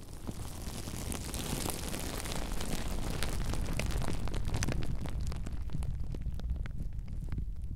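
Both hands squeeze and crumple a sheet of clear, air-filled plastic bubble wrap wrapped around a microphone. A dense stream of sharp, bright crackles and pops rides over a heavy low rumble and builds steadily louder. In the last few seconds the crackles lose their high sizzle.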